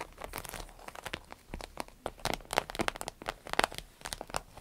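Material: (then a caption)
Vinyl. Long nails scratch and tap the vinyl surface near the zipper of a small green-yellow vinyl zippered pouch. The result is a quick, irregular run of dry, crinkly ticks and scrapes with bright highs and almost no ring.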